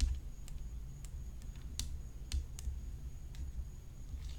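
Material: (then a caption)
Graphite composite. Long fingernails tap and scratch the hollow rim of a graphite composite tennis racket whose head is decorated with rhinestones. Each sound is a short, bright, dry click, scattered irregularly over a quiet, steady low hum and a faint high-pitched tone.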